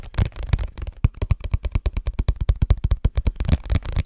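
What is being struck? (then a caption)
Cardboard tissue box. A hollow cardboard Scotties tissue box, held in both hands, is tapped rapidly with fingertips and nails. The result is a quick, uneven run of about 25 short, dry, hollow thumps, deep and boomy with almost no ring after each tap.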